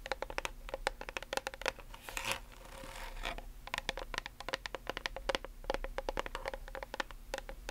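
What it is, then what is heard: Plastic bottle tapped and scratched with nails. Long nails rapidly tap and scratch the label and body of a plastic nail polish remover bottle with a blue cap. Quick, dry, clicky taps with a steady mid-pitched tone ring briefly over a faint hum. A brief rougher scratching passage runs around the middle.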